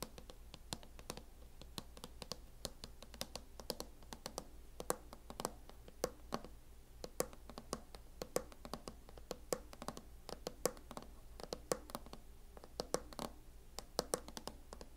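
Long acrylic nail tips tap on a closed MacBook fitted with a mint matte plastic hard-shell case. The result is a fast, irregular stream of short, dry clicks with a hollow knock around 500 Hz and bright high edges, each dying away almost instantly, over a quiet, steady low hum.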